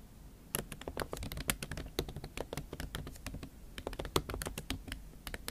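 Fingertips and long nails type fast on a MacBook Pro keyboard covered with a pink silicone skin. After a brief quiet start, a rapid, uneven stream of short taps follows, each a soft muffled thud with a bright clicky tick that dies away almost instantly.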